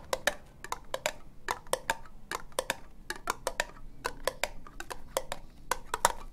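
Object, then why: Ribbed plastic cup. Long nails tap slowly on a hollow, empty orange ribbed plastic cup, making a steady series of short, dry clicks. Each tap has a bright attack, a hollow tone around 940 Hz, and almost no ring.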